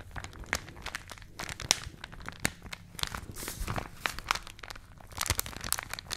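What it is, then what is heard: Rolled glossy paper magazine being crinkled. A rolled glossy paper magazine, formed into a hollow tube and held in both hands near the microphones, is squeezed and rubbed by fingers. The result is a steady run of bright, dry crinkling and crackling with short sharp snaps scattered throughout, over a soft low rustle.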